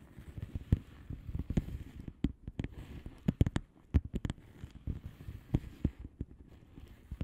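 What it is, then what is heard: Plastic bubble wrap envelope. Long fingernails of both hands tap on a flat blue plastic bubble wrap padded envelope with air-filled bubbles. The result is a quick, uneven patter of soft, dull, low-pitched taps with a few sharper clicks and almost no ring.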